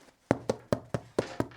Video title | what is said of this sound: Henri, le paysan bourlingueur et philosophe | faut que ça sonne assez creux plutôt sec